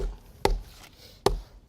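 A stone slab set on a bed of stone dust mixed with water, after being wiggled down to fill the voids, is tapped three times. Each tap is a short, dull knock with no ring. The slab sounds solid, showing it is firmly bedded with no voids underneath.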